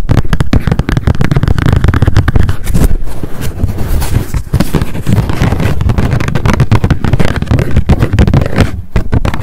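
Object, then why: Spiral-bound paper notebook with card cover. Long decorated acrylic nails tap rapidly on a small pink m.memo spiral-bound paper notebook with a card cover, held in the hands. The result is a dense, continuous stream of quick, dull, low thuds and soft clicks with very little high end. Each tap dies away almost instantly.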